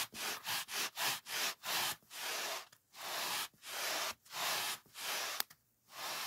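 A large white polyethylene packing foam sheet lying on a wooden table is rubbed with fingertips and palm. It makes a dry, bright, hissing scrape, starting with quick short strokes and moving into longer sweeps, with brief silent gaps between them.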